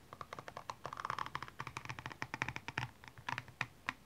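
The pointed tip of a makeup brush handle scratches across a single hollow, empty blue high-heel shoe, lying on its side and covered in small rhinestones. A quick, uneven series of short, bright ticks and clicks rings around 1.8 kHz, with a faint low rustle underneath. Each tick dies away almost instantly.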